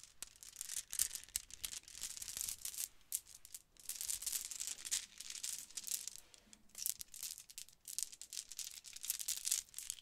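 A multicolor pearlescent plastic Mardi Gras bead necklace with hollow round beads is held in cupped hands, then dangled and let fall into the palm. The beads clack and rattle in bright, crisp bursts of rapid clicks separated by brief quiet pauses, with almost no low end.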